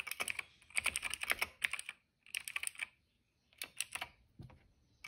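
Fingertips of both hands type on a retro-style mechanical keyboard with a cream plastic case, hollow housing, and black, purple and yellow plastic keycaps. Bursts of quick, bright, clacky keystrokes with almost no low end come in runs separated by short silent pauses, ending with a softer duller press and a final sharp click.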